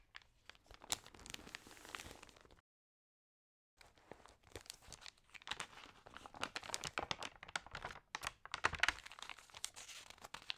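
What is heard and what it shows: Fingers with long nails rub and smooth the thin paper pages of an open magazine lying on a table, then turn them. The result is dense, bright crinkling and rustling with sharp crackles, broken by a brief silence near the three-second mark.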